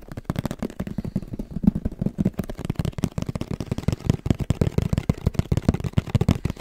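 Fingertips and nails tap quickly on the surface of a medium-sized, hollow, black printed Sony camera cardboard box held in both hands. The result is a rapid, continuous run of short, dull, hollow thuds that sit low, around 200 Hz, with almost no bright high end.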